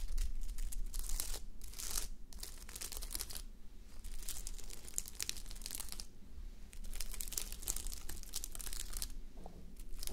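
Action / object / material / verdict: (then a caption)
scrape / plastic flip-sequin fabric sleep mask / plastic sequins / none. Long nails scratch across a flip-sequin sleep mask, plastic sequins on fabric, worn on a mannequin head. Bursts of bright, crinkly scraping come and go with short quieter pauses, over a steady low hum.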